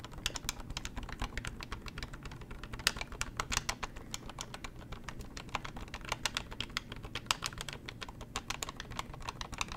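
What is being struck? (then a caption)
Plastic corded desk telephone. Long nails rapidly tap and press the keypad buttons of a beige plastic corded hotel desk telephone held in the hands, and tap its hollow plastic body. The result is a steady stream of sharp, bright plastic clicks that stop almost instantly, over a soft low rumble.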